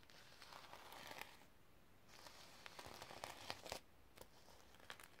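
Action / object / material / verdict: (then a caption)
scrape / sequin-covered notebook / sequins / none. Long nails scratch and brush across the sequins on a sequin-covered notebook held up in the air. The result is a quiet, steady crinkly rustle broken by sharp, bright clicks and brief flurries as the sequins flip under the nails.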